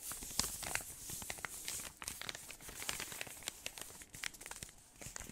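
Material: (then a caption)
Metal foil. A large, flat, unopened solid chocolate bar in crinkly gold foil is held in both hands near the mic and tapped and scratched with fingertips and short nails. The result is a steady run of quick, bright foil crinkles and sharp ticking taps, mostly high in tone with little low end.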